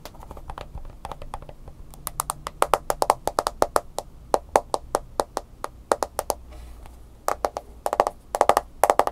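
A smartphone with a glass screen in a mint-green silicone case is held in the hands while fingernails tap on the screen and case. A quick, irregular series of sharp, dry clicks follows, each dying away almost at once, with some taps landing in fast clusters.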